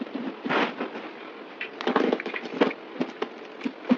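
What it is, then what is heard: Bar soap being shaved. A yellow utility knife shaves and scrapes curls off a solid oval white bar soap with a printed logo, held in the hand. It makes a run of dry, crackly scraping strokes with short, sharp bursts, mostly in the low-mid range and with little deep bass. Each stroke dies away almost at once.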